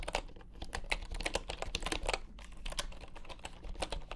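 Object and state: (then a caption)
Bamboo computer keyboard. Fingertips of both hands type on a full-size bamboo wooden computer keyboard with wooden keycaps. The result is a steady run of quick, dry clacks with very short decay, a hollow mid-pitched knock in each stroke and bright clicky edges, over a faint low hum.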